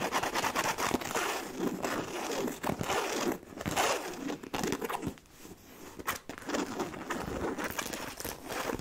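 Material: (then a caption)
Coated canvas. Long nails scratch the side panel and front of a black, medium-size, hollow monogram coated-canvas handbag. The result is a dense, crinkly, broadband rasp that runs nearly continuously, with brief quieter dips around three and a half and five seconds.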